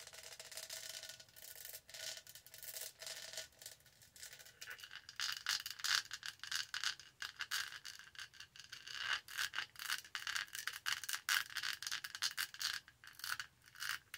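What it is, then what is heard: Plastic studded tumbler scraped with nails. Long nails rub the body of a tall, purple, studded, hollow plastic tumbler, then scratch its textured lid. A dense run of quick, dry scraping and clicking strokes sits mostly in the high, bright range. The strokes grow louder and sharper in the second half.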